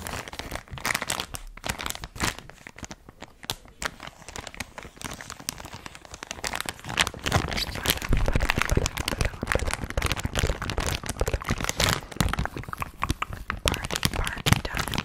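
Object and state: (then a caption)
Plastic foil bag being crinkled. A small, orange, printed plastic foil bag of party balloons, apparently full, is held in one hand near the microphone and handled with long pink nails that crinkle and scratch the foil. A dense stream of crisp crinkles, crackles and scratchy rustles runs throughout, growing louder and busier from about halfway through.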